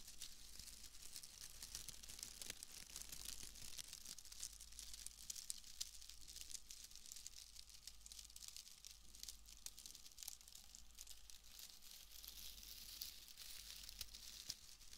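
A pale bundle of wood wool shreds is crinkled in the hands, giving a steady, dense stream of soft, dry crackling and rustling that sits mostly in the high, bright range. A low, constant hum runs underneath throughout.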